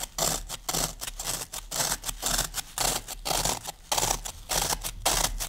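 Fingertips and long nails scratch and crush the top surface of a solid green floral foam brick. The result is a quick, uneven series of dry, crunchy scratching bursts, bright and hissy, with short gaps between strokes.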